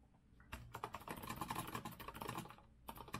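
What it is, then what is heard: Mechanical keyboard typing. Fingertips type with both hands on the round backlit keycaps of a rose-gold metal-frame retro Azio mechanical keyboard resting on a wooden desk. A quiet start gives way to a rapid run of crisp, bright clacky keystrokes with a ringing tone near 1 kHz. After a brief pause, a few final taps follow.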